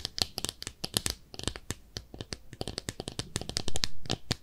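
A small pink speckled ceramic soap dish shaped like a clawfoot bathtub, hollow and empty, is held in both hands and scratched and tapped with long manicured nails. A rapid series of short, dry clicks and bright scratchy taps follows in a steady stream, ending with a louder stretch of rubbing scratches.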